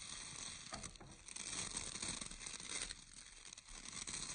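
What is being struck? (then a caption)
Round bristle hair brush with wooden core. Fingertips and nails scratch and pluck the bristles of a round bristle hair brush with a visible orange wooden core. A quiet, continuous, bright crackling and scratching texture swells and dips slightly over the few seconds, with little low end.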